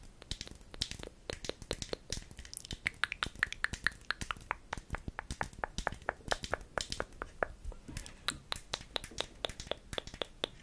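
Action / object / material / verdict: tap / small glass cosmetic bottle with plastic cap / glass / none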